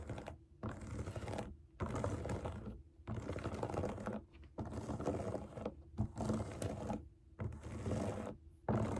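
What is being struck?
Silicone pop it fidget toy.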